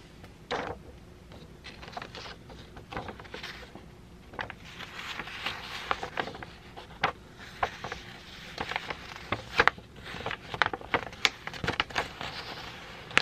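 A single thin white letter-size sheet of printer paper with an "ASMR" printout is held in both hands and bent and crinkled with the fingertips. Dry, bright crackles and sharp crisp snaps rise over a soft rustle, growing denser and louder toward the end.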